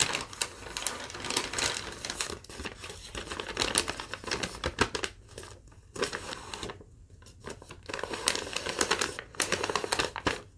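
A crumpled sheet of thin yellow lined paper is held up while fingertips and long nails crinkle and rub it. Dense, bright crackling comes in bursts of sharp, dry snaps, easing into quieter rustling with brief near-silent pauses before the crinkling picks up again.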